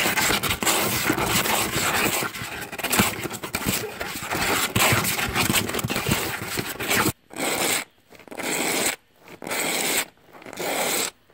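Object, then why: Cardboard box. A bearded dragon resting on top of a hollow cardboard box scratches the flat cardboard surface with its claws. A dense, bright, rasping scrape runs steadily for about seven seconds. It then breaks into four separate scratching bursts with near-silent gaps between them.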